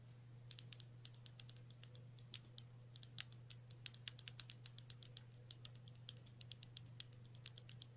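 A small, hollow, lidded white plastic stick-style lip balm tube with a printed label is held in both hands and tapped and scratched with long natural nails. Dozens of quick, crisp, high-pitched clicks and taps sound in an irregular stream over a steady low hum.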